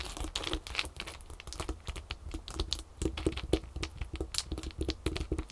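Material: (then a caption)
Ice. Long acrylic fingernails on both hands tap and scratch a pile of several small, solid ice cubes resting on a folded terry towel. The result is a fast, uneven stream of sharp clicky taps and bright, crinkly scratches over a soft low thud, each hit dying away almost at once.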